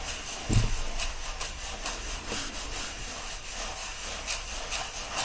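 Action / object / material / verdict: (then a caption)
scrape / paperback book, paper pages / paper / none. Palms clasp a bundle of pages standing upright in an open paperback book and rub them together. A steady papery rustle with repeated bright swishing strokes is heard, opening with a brief low thump.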